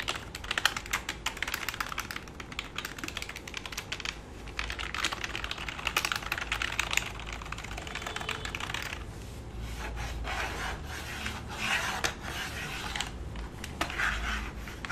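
A black full-size plastic computer keyboard resting flat on a lap is typed on with fingertips while nails rub and scratch across the keys. Rapid, dense clicks and taps carry bright, crisp highs, mixed with softer scraping stretches and a low steady hum underneath.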